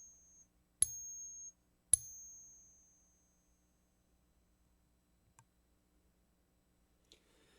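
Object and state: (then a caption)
Genuine silver quarter. A 1964 silver quarter is pinged twice, each strike giving a bright, high-pitched ring that sustains for about a second, followed by a couple of faint clicks. A harmonics app recognizes the ring pattern as silver and reports the coin as good.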